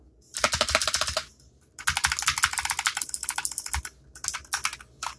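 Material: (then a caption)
Plastic. One hand types quickly with its fingertips on a compact black plastic mechanical keyboard with clicky switches resting on a desk mat. Rapid, bright, sharp clicks come in three bursts separated by short pauses, each keystroke dying away almost instantly.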